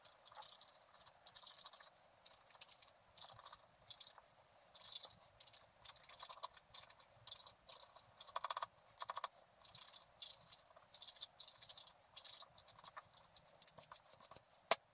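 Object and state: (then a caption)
Scratch art paper being scraped. A wooden stylus scratches the coating of a flat, black-coated scratch art card on a table. Quiet, dry, bright scratching comes in a steady run of short, uneven strokes with no low rumble. A sharper click stands out near the end.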